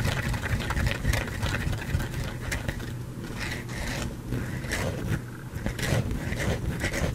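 A solid white soap bar held in the hand is scratched and scraped with painted fingernails close to the microphone. The result is a steady run of dry, raspy scratching strokes with bright crackly edges over a low, muffled rumble.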